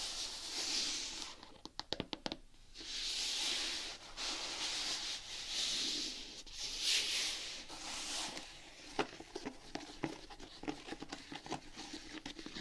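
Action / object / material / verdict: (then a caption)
scrape / knit fabric sneaker upper / knit fabric / none. Long painted nails rub and scratch the knit upper of a single dark grey Vans fabric sneaker with laces, held empty. Bright, hissy scratching comes in long swells, broken by quick clicks and taps, with a looser run of sharp ticks in the last few seconds.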